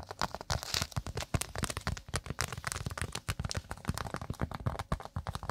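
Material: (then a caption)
Cork. A round, flat, thin solid cork pot stand held beside a microphone is scratched and tapped rapidly with long acrylic nails. About 34 quick, dry taps and scratches come in uneven bursts, each dying away almost at once. Their low thumpy body is topped with a bright crunchy crackle.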